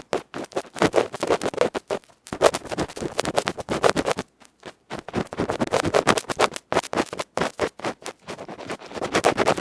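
A bamboo ear pick scratches rapidly and roughly across the dark felt front of a small metal electret microphone capsule held in the fingers. The result is dense bursts of harsh, close-up scraping and rustling, centred in the mids with little low end, broken by a few brief silent gaps.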